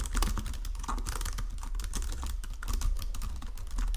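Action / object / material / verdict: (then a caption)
tap / plastic computer keyboard / plastic / none. Fingertips with painted nails type steadily across the low-profile keys of a full-size white and silver plastic Logitech keyboard resting on a marble desk. A quick, continuous stream of soft plastic clicks is heard over a heavy low thump, with each keystroke dying away almost at once.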